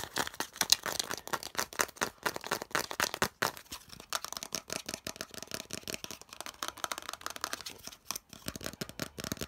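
Fingernails rapidly tap and scratch the flat face and edges of a hollow molded yellow plastic piece. The result is a fast, dense run of dry, bright clicks and scrapes with almost no low end and very short decay. The clicks continue unevenly throughout, with brief pauses.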